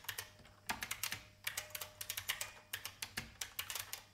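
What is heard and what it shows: Fingertips with long painted nails type on an old beige IBM full-size plastic mechanical keyboard with a hollow case. Quick, bright clacking taps come in uneven bursts, each short and crisp with little ring.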